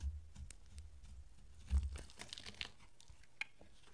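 A utility-knife blade held in a hand with dark nails scrapes curls off a solid, dry, peach oval bar soap with a blue rim. Soft crisp scraping and crunching strokes sound over a low dull rumble, with one louder thud near the middle and a sharp bright tick near the end.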